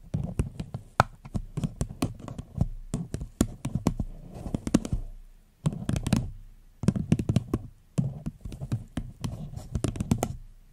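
Long fingernails tap on a small, hollow, empty floral paper cup turned upside down, making quick, dry, hollow knocks with a low body and almost no ring. The taps come in rapid bursts separated by brief pauses.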